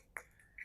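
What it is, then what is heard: Solidly bonded golf shaft tip in adapter. Three light taps on a graphite golf shaft tip, bonded with epoxy into a metal adjustable driver adapter after a 24-hour cure. Each tap is a short, bright click with a high tone and almost no ring. The taps show the tip is solid in the adapter and the bond is good.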